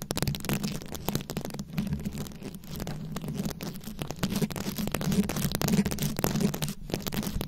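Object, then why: Microphone head covered in glued-on rhinestones. Long acrylic nails scratch and tap across a fist-sized microphone head fully covered in small glued-on rhinestones and beads. The result is a continuous, dense stream of quick clicks and gritty scratching over a heavy, boomy low-end rumble, with little brightness up top.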